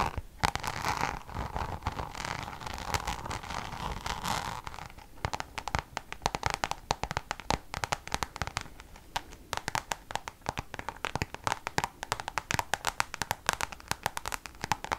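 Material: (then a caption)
Coated canvas. Long nails scratch and tap the flat face of a Louis Vuitton Damier checkered coated canvas pouch held vertically. For the first five seconds there is a steady, textured scratching centered near 1 kHz. It then gives way to a long run of quick, dry, sharp taps that stop instantly, with a bright edge and no ring.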